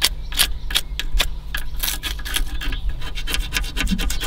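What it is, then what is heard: Crumbling aged foam seal strip. Fingertips and nails rub and scratch an aged, crumbling white foam seal strip on the top edge of a car's aluminum radiator, knocking bits off. A rapid series of dry, bright scratching strokes sounds over a steady low hum.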